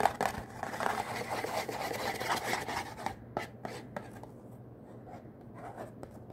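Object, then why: Thin cardboard soap box. A small, hollow, green Irish Spring bar soap box made of thin printed cardboard is held in one hand and tapped and scratched with the fingertips of the other hand. Dense, papery scratching fills the first three seconds, then gives way to sparser, crisp taps at a lower level. The taps are dry and short, with no ring.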